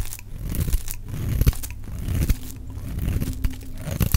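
A solid, dry white bar of soap held in the hand is shaved into flakes with a metal utility knife blade. The result is a run of irregular, low, dense crunching and scraping strokes with short, sharp tearing snaps and almost no ring.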